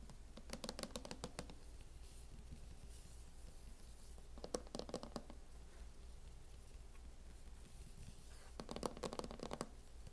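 Long nails make slow taps and light scratches on the lid of a closed laptop in a teal matte plastic hard-shell case. Three bursts of quick, crisp clicking, near the start, middle and end, rise over a steady low hum. The taps are short and dry with almost no ring, and faint scratching fills the gaps between them.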